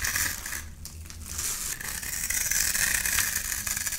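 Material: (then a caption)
Soap. A flat metal blade scrapes and cuts shavings off the surface of a solid green bar of soap held in one hand, and the crumbs fall away. A steady, dense, crisp scraping and crunching runs throughout, bright and airy with a faint low rumble underneath, dipping briefly near the start before building slightly louder toward the end.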